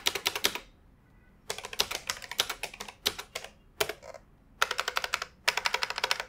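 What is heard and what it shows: Fingertips type on a beige plastic retro computer keyboard with hollow key mechanisms, resting on an office desk. Bursts of sharp, bright, clacky key taps come in quick runs separated by short pauses, with each tap dying away almost instantly.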